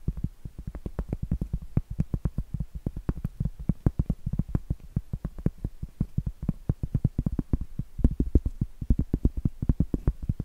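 Long acrylic nails rapidly tap and scratch the flat face of a round, solid cork trivet held upright. The result is a fast, continuous stream of short, dull, low thumps with very little ring, topped by faint bright clicks from the nail tips.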